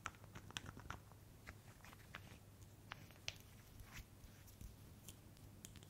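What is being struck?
Small glass bottle with metal cap.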